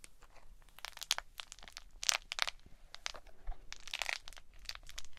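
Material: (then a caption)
Plastic. A small green plastic lattice stress ball with a purple squishy core is squeezed and rolled between the palms, with long nails touching the lattice. It makes a quiet run of dry, bright crinkling and crunchy clicks in irregular bursts, each snapping off almost instantly with no ring.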